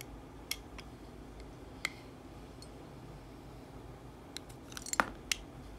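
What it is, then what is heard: Bar soap being shaved with a blade. A metal utility-knife blade shaves thin curls off the edge of a solid, hand-sized yellow bar of soap held in one hand. About seven short, crisp, bright scraping clicks sound over a quiet, steady background hiss, with a tight cluster near the end. Each cut stops almost at once, with no ring.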